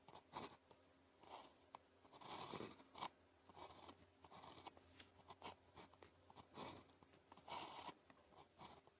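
The tip of a blue plastic ballpoint pen, held in the fingers, writes on a thin grid-printed paper calligraphy practice sheet lying flat on a desk. Quiet, continuous scratching strokes come in short, dry bursts with a bright papery rasp centred around 1 kHz, separated by brief pauses between strokes.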